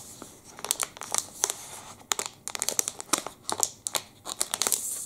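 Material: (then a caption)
Plastic. A long black and red plastic wrapper from a Pepe liquorice stick is bent and crinkled with the fingers. It gives bright, crackly crinkles in quick irregular bursts, each sharp snap dying away at once over a faint steady hiss.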